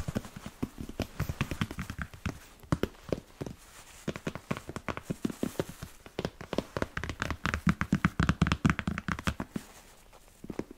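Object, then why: Leather boot. A hollow, empty smooth black leather Chelsea boot with a yellow-stitched sole is tapped on the toe and upper with fingertips and nails. Quick, dry, low thuds come in irregular bursts, with short clicks from the nails and almost no ring. The taps build to a denser, louder run near the end.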